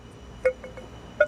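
A private-stock block of East Coast tonewood, the wood Les Pauls are made of, is tapped at the PRS factory while held at its one-quarter point. Two strong taps and a fainter one between them give a bright, bell-like chime pitched near 600 Hz with clear higher overtones. The block rings well held at the quarter point, while held at the end it does not ring.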